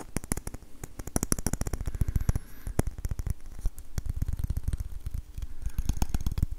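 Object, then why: Wooden ladle. An orange varnished wooden ladle is tapped with fingertips and nails along its solid handle and hollow bowl. The result is a rapid, uneven run of short, dry taps with deep, low thumps and bright clicks from the nails. Each tap dies away almost instantly.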